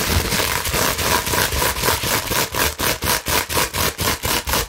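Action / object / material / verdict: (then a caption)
scrape / plastic bubble wrap sheet / plastic / none. A clear plastic bubble wrap sheet is held in both hands while long nails scratch rapidly over the bubbles. At first there is a dense, continuous bright crackling hiss. It then settles into a steady rhythm of separate scratching strokes, each with a faint tone near 930 Hz.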